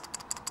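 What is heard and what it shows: A plastic Fire Guts toy robot head from a Masterforce God Ginrai Transformers figure is shaken, giving the same faulty rattle as the first head because a smaller red eye piece is loose inside. Short, bright, high clicking rattles come in quick bursts, with a faint hiss between them.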